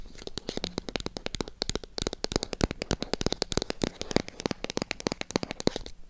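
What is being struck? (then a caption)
Small cardboard box. Long acrylic nails tap and scratch the sides of a small, hollow white cardboard product box. The result is a rapid, uneven stream of sharp, dry clicks that stop almost instantly, with scratchy rustling between them.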